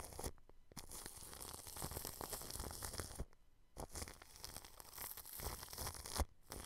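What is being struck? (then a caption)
Plastic cling film stretched over a microphone grille. A paintbrush with blue bristles is brushed and rubbed against thin, transparent plastic cling film stretched over the metal mesh grille of a round white microphone head. It makes a dense, crinkly scratching with a heavy low rumble, broken by brief pauses near 3.5 s and just after 6 s.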